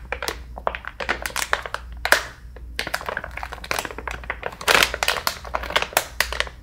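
A full, soft plastic-film pouch of facial wipes with a hard plastic lid is tapped with fingertips and nails, then squeezed and crinkled between both hands. Quick, dry taps and bright, crackling crinkles follow one another rapidly, with a steady low hum underneath.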